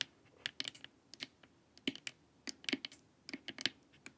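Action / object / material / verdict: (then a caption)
tap / plastic LED face mask / plastic / none. Long nails tap the top and sides of a glossy, hollow plastic LED face mask. Around sixteen quick, dry, bright clicks land in irregular clusters with almost no ring. They have a light hollow body underneath and near silence between taps.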